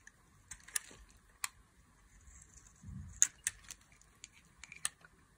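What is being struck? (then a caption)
Bar of soap cut with a blade. A black-handled blade carves thin curls off a solid, palm-sized oval bar of dry pink soap held in the hand, with the shavings piling up below. Sharp, bright clicks and crisp scraping cuts come in irregular bursts over a faint, quiet background, with a brief softer low rustle in the middle.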